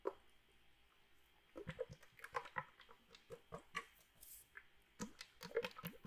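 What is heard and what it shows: A small red metal drink can, likely aluminum, with some liquid inside is held in one hand and shaken or tapped with the fingers. Quiet, short crunchy taps and soft sloshing patter come in irregular bursts with mid-pitched, bright clicks and almost no ring.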